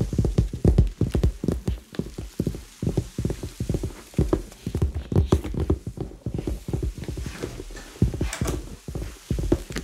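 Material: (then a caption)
Leather. Fingertips tap rapidly on a hollow red leather handbag held close to the microphones, making a steady run of soft, knock-like hollow taps. The sound is deep and muffled, with little brightness, and each tap dies away almost at once.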